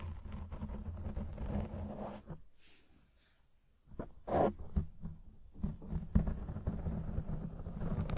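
Fingertips and short nails of both hands scratch and rub a soft, porous, fist-sized black foam windscreen over a microphone on a stand. The result is a dense, low, muffled rumble of scratching that drops to near silence in the middle, then returns louder with sharper scrapes and thumps.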